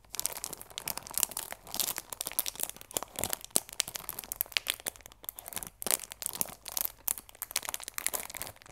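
Long nails scratch and fingertips crinkle the clear plastic film wrapped around a cardboard chamomile tea box. The result is a dense, bright run of crackling crinkles and scratchy bursts with almost no low end. Each sound cuts off instantly, with short quiet gaps between flurries.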